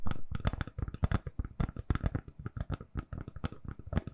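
Long nails tap and scratch a hand-sized, solid lilac silicone-covered phone case on a phone in a quick, uneven run of about two dozen soft hits. Each one is a dull, low, muffled thud that dies away almost at once, with scratchy texture between taps and almost no bright edge.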